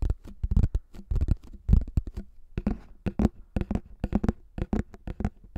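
Fingertips tap and scratch the top and rim of a thin, hollow pink plastic frisbee held at microphone height. The result is a rapid, uneven series of short, dull, hollow thumps, low and quickly damped, mixed with brief scratchy brushing between the taps.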